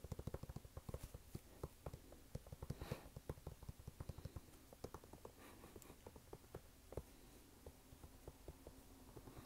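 Fingernails tap and scratch a red canvas sneaker held close, working over the canvas upper and the rubber sidewall. The result is a quiet run of short, dull, low-heavy taps with almost no ring, mixed with soft brushing scratches that stay low and muffled.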